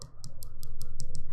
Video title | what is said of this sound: April 26, 2023 - Live Dip Powder Manicure Replay - Spring Green Dip Nails | When you hear that clicking, we know we're good to go.